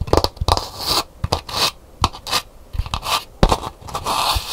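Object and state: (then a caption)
Empty calabash gourd bowl scratched. Long nails scratch the painted interior of a hollow, empty calabash gourd bowl, then move to its outer shell while the bowl is held. Short, dry scraping bursts alternate with brief pauses, each mixing a low knock with a bright, rasping hiss.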